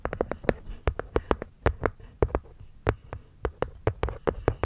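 Long nails tap and scratch the cork top panel of a small, hollow, hexagonal light-wood box sitting over the mic. About two dozen quick, dull taps land in an uneven rhythm, each a short muffled thump with a hollow wooden knock near 500 Hz that dies away almost at once. Soft scratching rustles between them.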